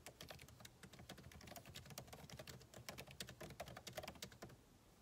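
Fingertips type continuously on the backlit keyboard of a MacBook Pro, with plastic keycaps set in an aluminum body. Quick, dry, bright clicks follow in a steady, dense stream over a faint low hum, with each tap dying away almost instantly. The typing thins out near the end, and one last louder tap closes the clip.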